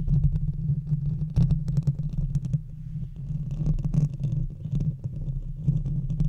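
Long red fingernails of both hands scratch a hollow metal mesh microphone grille, producing a dense, rumbling low drone centered around 129 Hz. Rapid scratchy ticks and rasps flare into the high range on top of it. The scratching pulses in quick, uneven bursts with a slightly quieter stretch in the middle.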